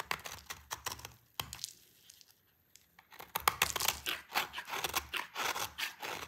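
A utility knife blade scrapes and shaves a solid, hand-sized orange bar of dry soap held in a hand with long purple nails, and crunchy shavings fall onto a pile. Quick, crisp, bright crunching scrapes come in irregular bursts, with a quieter stretch in the middle before the shaving turns denser and louder.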